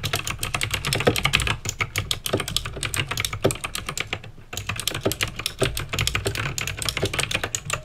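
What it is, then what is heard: Plastic mechanical keyboard being typed on. Fingertips type at a fast pace on a backlit mechanical keyboard with plastic keycaps and clicky green switches. A dense stream of sharp, bright clicks rattles on with a steady low hum beneath, pausing briefly near the middle before the rapid typing resumes.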